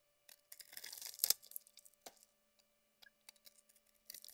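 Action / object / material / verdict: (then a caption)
scrape / bar soap / soap / none. A solid bar of soap, mostly shaved down to a cream-white core and held in the hand, is scraped and carved with a utility knife blade, cracking off chunks. A dense burst of bright, crisp scraping and crackling builds to a sharp crack, then gives way to scattered small, dry ticks and brief scrapes. The sound is quiet and almost entirely high-pitched, with no low end.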